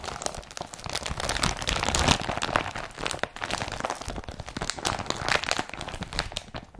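Fingers crumple a blue woven polypropylene IKEA BRATTBY carrier bag and grip and rub its strap. The result is a dense, continuous run of bright crinkling and crunching with many quick crackles over the whole clip, heard close up.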